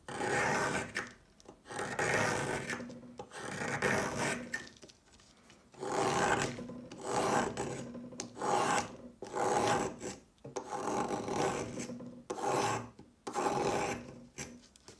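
A solid white rectangular chalk stick, about palm length, is scraped lengthwise with the metal blade of a yellow plastic peeler, shaving off white flakes. Repeated drawn-out rasping strokes rise and fade in turn, with a dry, bright scratchy texture and short quiet gaps between them.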